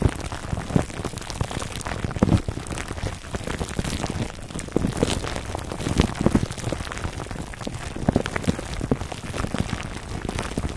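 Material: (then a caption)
Plastic film. Fingertips scratch a foam microphone cover wrapped in clear, crinkly plastic film. It produces a dense, continuous crackle of short, rain-like ticks and rustles with a heavy low-end thump, and occasional louder crinkles stand out from the steady texture.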